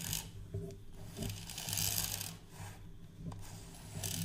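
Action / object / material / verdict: scrape / plastic measuring tape reel case / plastic / none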